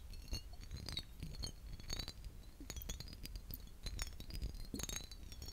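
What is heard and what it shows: A vintage glass aftershave bottle is tapped repeatedly, giving quick, bright glass clinks with short ringing tones over a low background rumble.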